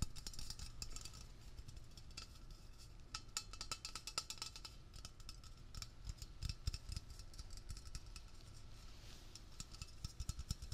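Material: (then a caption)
Metal. Fingertips tap fast on the label of a medium-sized, hollow Blue Coral metal aerosol spray can held close up. The result is a steady, dense stream of quick, dry taps with a low, hollow thump and bright, clicky ticks that stop instantly with no ring.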